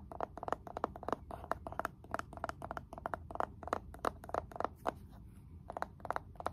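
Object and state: Wooden candle jar lid.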